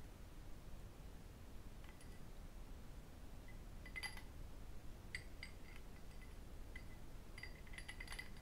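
A small, empty, hollow cut-crystal whisky tumbler, held in both hands, is tapped and clinked with metal rings worn on the fingers and with fingertips. Light, scattered clinks ring briefly at a pitch near 2 kHz with bright overtones, over a steady low background hum.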